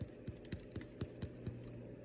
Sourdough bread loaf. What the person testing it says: you knock on the bottom sound like it's hollow, then you know that it's ready